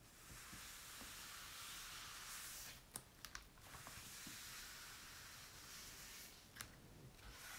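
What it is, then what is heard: Glossy paper magazine being wiped. A folded paper napkin slowly wipes and rubs across an open glossy paper magazine lying on a table, staying on the same spread ("One Story at a Time") while fingertips hold the pages down. The result is a steady, soft, bright hiss of paper friction, broken by a few sharp papery ticks partway through and near the end.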